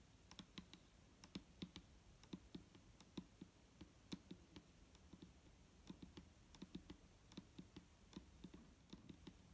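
A single long nail taps slowly on the side of a large clear plastic micellar water bottle, full of liquid and lying on a table. About thirty-four short, separate taps are heard, each a soft low thud with a bright clicky edge that dies away almost instantly over a faint steady hiss.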